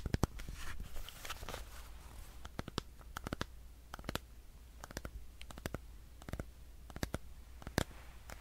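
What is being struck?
Plastic power bank.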